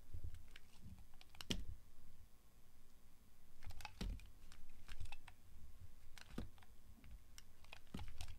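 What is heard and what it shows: A small, solid, translucent orange glycerin soap bar is held in the hand while its edge is shaved with the blade of a yellow box cutter. Short, crisp scraping and clicking cuts come in uneven bursts over a soft low rumble, with bright ticks on each stroke and almost no ring afterward.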